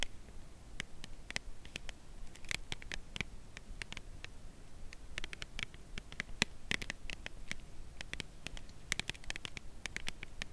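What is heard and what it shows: Long nails tap and lightly scratch the narrow edge of a slim, full cardboard Lindt chocolate bar box held edge-on. The result is a quiet, steady patter of many short, dry, bright clicks with soft scratching between them and no ring, over a low, muffled rumble.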